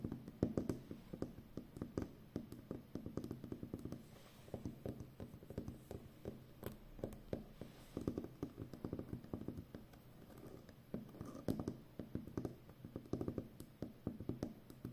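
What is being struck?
Plastic packing tape roll.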